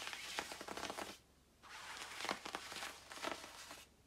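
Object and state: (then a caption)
Nylon puffer jacket. Long nails scratch and rub the quilted surface of a glossy black down-filled nylon puffer jacket worn by a person lying down, with two hands working it at the end. Bright, crinkly scratching and swishing comes in dense bursts, breaks off into near silence for about half a second, then resumes in louder rasping strokes before fading out.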